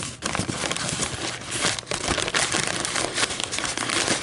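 Long almond-shaped metallic nails scratch and crinkle the ridged sides of a thin, empty, white fluted paper coffee filter shaped like a hollow cup, resting on a table. A steady, dense stream of bright, dry crinkling and crackling rustles on with little low end, dipping briefly now and then.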